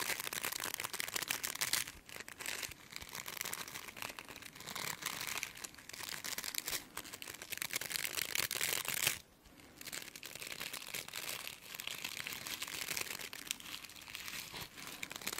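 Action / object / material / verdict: scrape / plastic bristle brush / plastic / none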